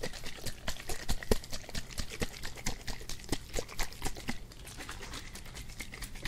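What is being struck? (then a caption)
Plastic spray bottle with liquid. A hand-sized green plastic spray bottle, hollow, partly filled with liquid and resembling a Febreze-style bottle, is held in one hand and shaken beside the mic, making the liquid slosh. Quick, uneven splashing pulses sound close and low-heavy with brief bright spatters, then grow softer and more even toward the end.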